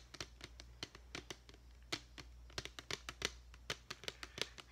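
A medium clear plastic deli tub with a lid, partly filled with glitter foam letters, is tapped on its side with long painted fingernails. About two dozen quick, bright, dry taps land in an irregular rhythm, each clicking off almost instantly over a low, steady hum.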